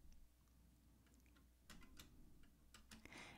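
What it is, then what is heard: Metal typewriter keys being typed. Fingertips of both hands press the round glass-topped keys of a black vintage Remington portable typewriter with a hollow metal body. Soft, quiet taps come first, followed by louder, sharper clacks with a bright edge and a low background hum.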